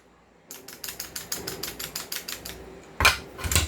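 A non-upgraded airsoft pistol with a loose outer barrel is shaken, giving a rapid series of sharp, bright metallic rattles that build into two louder clattering bursts at the end. The loud rattle comes from the outer barrel being loose.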